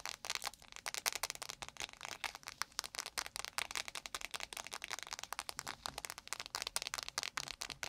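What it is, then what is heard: Plastic gel ice pack. Long nails rapidly tap and scratch a clear plastic panda-shaped ice pack filled with gel that stands on the microphone. The result is a dense, fast stream of sharp, bright clicks and scratchy crackles with almost no low end, each hit dying away instantly.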